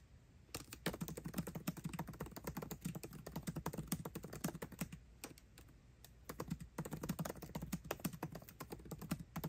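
Fingertips type fast on a MacBook Pro keyboard with plastic keycaps set in an aluminum body. Rapid, dense clicks and soft thuds run in bursts, with a brief lull near 6 seconds before the quick typing picks up again.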